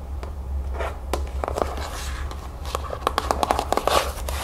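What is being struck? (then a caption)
Cardboard cereal box. Long nails tap and scratch across the back panel and bottom edge of a cardboard cereal box, close up. Sharp, dry clicks and papery scratches ride over a steady low hum, with quick taps clustering toward the end.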